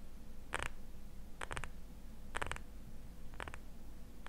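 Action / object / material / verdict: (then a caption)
tap / small glass jar filled with cream / glass / none. Fingernails tap and scratch a small labeled glass jar filled with cream, held in both hands. Short clusters of crisp, bright clicks come at irregular intervals over a steady low background hum, with quiet gaps in between.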